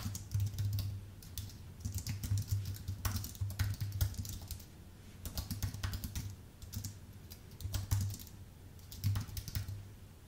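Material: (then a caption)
Aluminium, plastic. Fingertips of both hands type on a full-size white Apple Magic Keyboard with numpad, with a thin aluminium base and plastic keycaps, resting on a dark desk. Quick, light key taps come in bursts separated by short pauses, each click short and crisp, over a steady low hum near 100 Hz.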